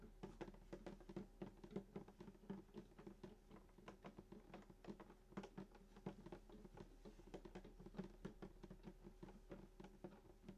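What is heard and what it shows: Fingertips tap quickly and continuously on the top of a full-size sunburst acoustic guitar near the bridge, its hollow wooden body glossy-finished. Each quiet, short tap brings out a soft, hollow low thump from the body, over a faint steady low hum.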